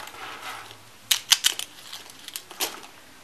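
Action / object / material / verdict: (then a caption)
scrape / small curls of bar soap crushed between fingers / soap / none. Small dry peach soap curls are picked from a pile of flakes and crushed between the fingers. A soft rustle of flakes is followed by a series of short, crisp, bright crunches and crackles that stop almost instantly, with quieter crumbling in between.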